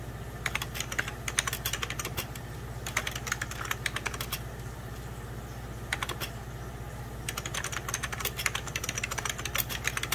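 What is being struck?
Plastic computer keyboard.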